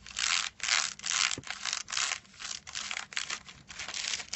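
Fingertips tap and rub across a flat rectangular object wrapped in crinkled silver aluminium foil, which lies on a white cloth. The foil gives off a quick, uneven run of bright, dry crinkling and scratching bursts with almost no low end. Each burst dies away almost at once.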